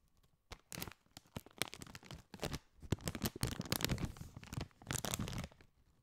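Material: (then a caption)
Metallized plastic. A partly filled Doritos chip bag of foil-lined, metallized plastic is held and crinkled with the fingertips. Bursts of sharp, papery crackling with a bright, hissy top and some low body alternate with brief quiet gaps.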